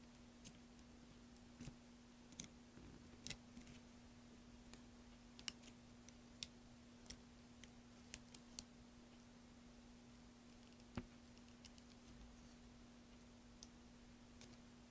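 A metal blade cuts and scrapes into a solid green soap block, with a pile of soap chips lying beside it. Quiet, sharp, bright clicks and crisp little snaps come at irregular intervals over a faint, steady low hum.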